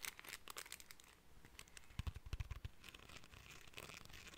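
A small, solid cream plastic hair comb with fine teeth is held in the hands while fingers and nails flick and scratch along its teeth. The result is a quiet, dense stream of dry, crackly, bright ticks and scrapes, with a brief cluster of low, dull thumps from the handling midway through.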